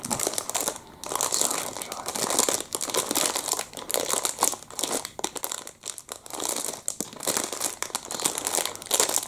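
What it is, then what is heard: Plastic food wrapper being crumpled. Fingertips squeeze and crumple a small, soft, clear crinkly plastic packet with a printed chocolate-muffin label, the muffin still inside, held close in both hands. A dense, bright crinkling and crackling runs throughout in uneven waves, with almost no low end and brief dips between bursts.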